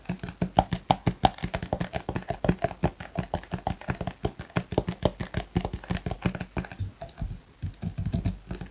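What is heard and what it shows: A hollow Garnier plastic squeeze tube filled with cream is held in both hands and tapped rapidly with the fingertips of both hands. About 47 soft, dull, low-heavy taps come in a quick, uneven patter, each dying almost instantly with a faint hollow tone, and there is a brief pause near the end.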